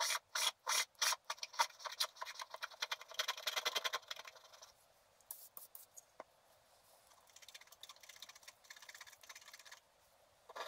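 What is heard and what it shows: A wooden stylus scrapes larger areas of a flat, black-coated scratch art paper card, and flakes of the black coating come off. Quick, dry, bright scratching strokes come in loud bursts for the first few seconds. They then settle into quieter, steadier scraping with brief pauses.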